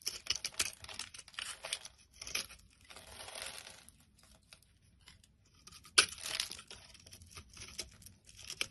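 A metal carving blade scrapes across a solid yellow bar of soap held in the palm, pre-scored into small cubes, shaving off the crumbly cubes. The sound is a dry, bright crackling scrape in quick, short bursts, with a sharper, louder scrape about two-thirds of the way through and quieter crumbling between.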